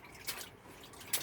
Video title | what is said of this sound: Shifter linkage plan... ran out of letters. And diaper fishing! | you can hear it sloshing down there in the bottom of that bilge